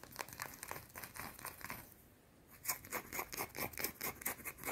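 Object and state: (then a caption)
Bar of soap scratched and tapped with fingernails. Long dark teal nails scratch and tap a small round solid white soap bar held in the hands. Quick, irregular bursts of dry, bright scratching give way to a brief near-silent pause, then a fast run of crisp, short scrapes and taps.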